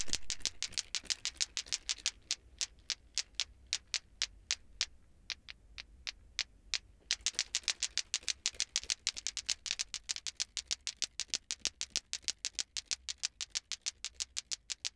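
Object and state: Plastic ball clacker (lato-lato).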